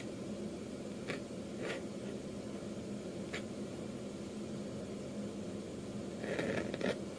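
A metal dip-pen nib scratches short inking strokes across the face of a flat sheet of white manga manuscript paper. Five brief, bright scratches stand out over a steady low hum, with the last two coming close together near the end.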